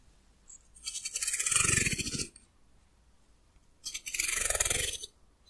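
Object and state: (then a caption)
Wooden comb. Fingernails scratch and pluck the teeth near the end of a solid, hand-sized wooden hair comb in two separate passes. Each pass is a rapid run of bright, crackling ticks with a soft low thump beneath, then fades into quiet.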